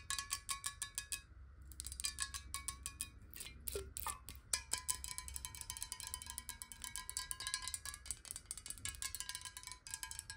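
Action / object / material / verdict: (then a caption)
tap / glass water bottle, partly filled with water / glass / none. Long nails tap fast on a clear glass water bottle, partly filled with water, held horizontally and tilted. Rapid bright clicks ring with glassy tones near 1 kHz and higher, and the pitch briefly shifts partway through as the bottle moves.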